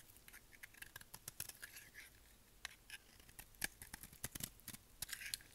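A solid, dry, dark grey bar of soap is held in the hand and shaved with a utility knife blade, peeling off curled shavings. A rapid run of short, crisp scraping cuts sounds bright and dry, with almost no ring after each stroke.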